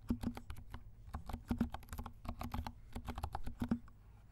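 Fingertips of both hands type on a compact 68-key plastic mechanical keyboard with dark plastic keycaps and silent switches. The keystrokes are soft, muted taps with a low thud and a little bright click, coming in quick irregular bursts.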